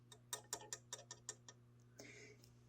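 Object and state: Die-cast metal smoke deflector on a model locomotive.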